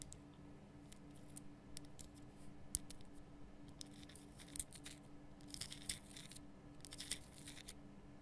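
Long nails tap and scratch the front of a large, lit, pink Himalayan rock salt lamp made of solid rough salt. Quiet, sharp, bright clicks and short scratchy rasps come in irregular bursts over a steady low hum.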